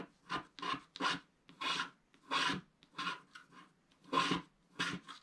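A wooden scratching stick scrapes away the black wax coating in the upper clouds of a flat scratch-art picture card, a thin solid sheet lying on a table. About a dozen short, irregular raspy strokes are heard, each a dry, bright scratch centered near 1 kHz. Each stroke stops quickly with little ring, leaving brief silences between them.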